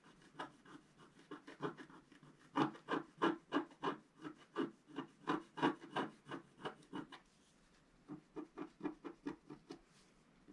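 A wooden stylus scratches the coating of a flat scratch art paper sheet held down by one hand. It makes quick, dry rasping strokes, about three per second, with a short pause near the end before the strokes resume more softly.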